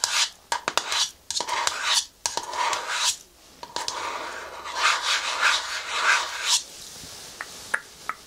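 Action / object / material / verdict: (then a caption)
scrape / plastic cream jar with lid / plastic / none. Long nails tap and scratch a hand-sized, hollow green plastic cream jar with a white plastic lid, working over the lid and sides. Bursts of bright, dry rasping scratches are broken by sharp, quick clicking taps, with a faint hollow ring near 1 kHz and almost no low end.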